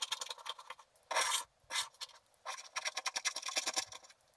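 A wooden stylus scrapes broadly across a flat black wax-coated scratch art sheet, piling up wax flakes. Bright, dry rasping strokes come in quick bursts, with two longer, louder scrapes early on, then a rapid run of short scratches to the end, with almost nothing in the low end.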